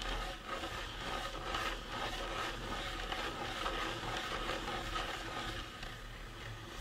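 Fingertips rub and scratch the sides of the cranium of a life-size painted resin or plastic Halloween prop skull. A steady, soft stream of dry scratching and rubbing continues throughout, with a faint low hum underneath and a slight tone near 1.2 kHz.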